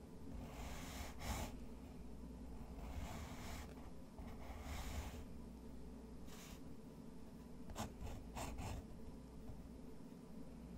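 A fountain pen nib scratches and hatches across a thick, textured white watercolor paper sheet while the other hand rests on the sheet. Soft, bright, raspy strokes come in separate bursts, longer sweeps early on and a few quick short strokes near the end. A steady low hum runs underneath throughout.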